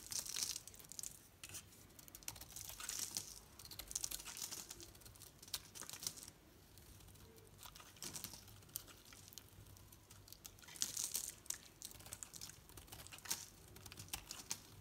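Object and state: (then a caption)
Soap bar shaved with a blade. A solid green soap bar painted orange is held in the hand and shaved with a utility knife blade. Quiet, dry, crisp scraping and crackling strokes come in bright, hissy bursts, with a thin papery crinkle between them.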